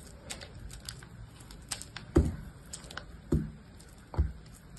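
A box-cutter blade shaves and cuts a small, solid piece of blue soap with foam on it, held between the fingers. Light scraping ticks run throughout, broken by three heavier, dull low thuds as the blade cuts through, each fading quickly.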